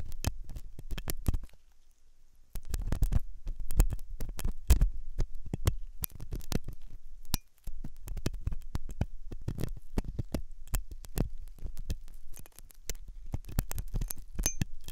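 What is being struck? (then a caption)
Silicone dummy ear with steel hook. A steel dental hook scrapes and scratches inside the ear canal of a white silicone dummy ear on a binaural microphone, which is solid and soft. Dense, close, low-heavy scratching and clicking fills the clip with short, dry transient bursts. Brief quieter pauses fall around 2 seconds and 7.5 seconds.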